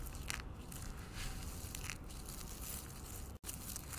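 A bare hand with painted nails digs into a large pile of dry green soap flakes on a white wooden table, grabbing and squeezing them. The result is a steady stream of dense, crackling crunches, low-heavy with brighter crisp edges, broken by a brief silence near the end.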